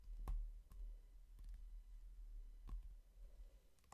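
Fingertips and short nails tap on the glossy cover of a hardcover book, making sparse, sharp, bright clicks with brief, quick-fading ringing. The clicks sit over a steady low hum in an otherwise quiet recording.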